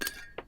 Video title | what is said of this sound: Titleist GT: Behind the Tech | when you drop it it's unbelievable it sounds like metal